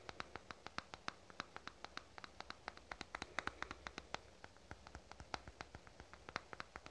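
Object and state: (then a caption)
Plastic cosmetic tube. A small black plastic cosmetic tube is held between both hands and tapped rapidly with fingernails. The result is a quiet, steady stream of dozens of short, crisp clicks with a bright, hollow plastic tick and almost no ring, over a faint soft background.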